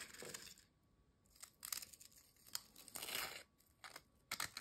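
A single thin, dry, crisp ridged potato chip is folded, snapped and crumbled by fingertips over a glass bowl. Short, bright crackling snaps and crunchy bursts come in clusters, with a longer rustling crumble near the end. Quiet gaps fall between them.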